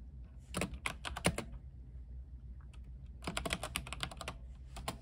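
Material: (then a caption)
Plastic. A compact mechanical keyboard with white plastic keycaps and a silver case, lit blue, is typed on with the fingertips of both hands. Two quick bursts of crisp, bright key clacks are separated by a quieter pause, over a steady low hum.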